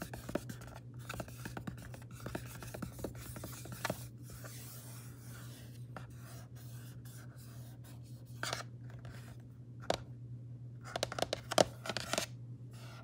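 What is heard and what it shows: Long painted nails tap and scratch across a closed, silver aluminum laptop lid covered in vinyl stickers, flat and thin with a hollow body, lying on a granite counter. Quick, short clicks and dry scraping run over a steady low hum, with louder sharp taps near the end.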